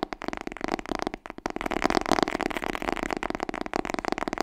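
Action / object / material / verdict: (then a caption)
tap / cloth hardcover book / cloth, cardboard / none. A large, solid, dark blue cloth hardcover "Smashing Book 6" is tapped rapidly with long nails on its cover and spine edge. The result is a dense, continuous run of short, dry, papery knocks centered in the midrange, with quick clicky attacks and no ring.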